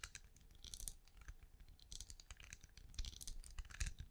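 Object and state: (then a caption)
Ridged plastic night lamp tapped and scratched with nails. Long nails tap and scratch the ridged side of a small, hollow, glowing night lamp with a translucent ridged plastic shell, held in one hand. The result is a quiet, rapid run of crisp, bright clicks and scratchy rasps over soft low thumps, each tap dying away almost instantly.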